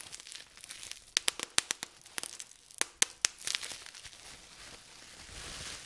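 Clear plastic bubble wrap is rolled in the hands while fingertips twist and pinch it to pop the air-filled bubbles. Sharp, bright snapping pops come in quick bursts over a steady crinkling rustle, then give way to a soft, hissy crinkle toward the end.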